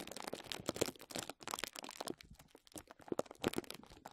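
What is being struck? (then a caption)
Plastic bubble wrap. Crumpled clear plastic bubble wrap lying over a microphone is squeezed and scratched by the fingertips of both hands. It gives close, dense crinkling and crackling in uneven bursts, with bright, sharp snaps and short quiet gaps between handfuls.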